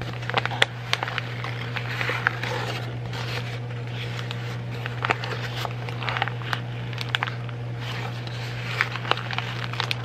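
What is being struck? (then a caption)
Sheet of printer paper. A wrinkled sheet of white printer paper is crinkled, stretched and balled up with both hands, giving a continuous dry crackle broken by sharp, bright snaps. A steady low hum runs underneath throughout.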